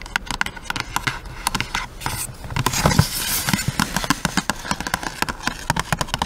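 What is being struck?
Cardboard box with plastic window.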